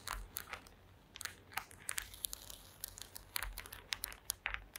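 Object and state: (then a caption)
Woven wooden placemat. Long acrylic nails tap and scratch across a flat woven placemat made of small wooden slats resting on a table. The result is a quiet, irregular run of sharp, bright clicks and dry scratches that stop almost instantly, with a faint low hum underneath.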